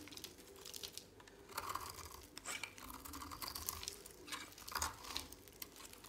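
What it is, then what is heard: Dry soap bar shaved with a blade. A utility knife blade shaves flakes off the edge of an oval, solid, dry pale green soap bar held in a hand. The clip is full of soft, dry scraping and crisp crackling bursts, bright and papery, with a few louder shaves rising over a quiet background.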